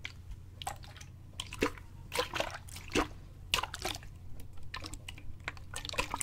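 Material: Plastic.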